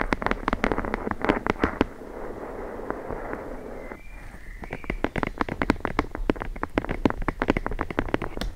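A thick, closed hardcover book with a red cover is held edge-on, and its solid block of page edges is tapped and scratched with long blue nails. Rapid, dry clicking taps in the first two seconds give way to a soft, steady scratching hiss for about two seconds. Then quick, sharp taps resume to the end, each dying away almost instantly.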